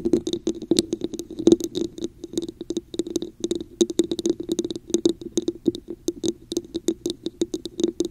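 Long acrylic nails on both hands tap and scratch a hollow red cup with a raised diamond texture, likely plastic, set upside down over a microphone. A quick, uneven run of dozens of short taps gives a hollow mid-pitched knock with bright clicky ticks, and each tap dies away almost at once between soft scratching.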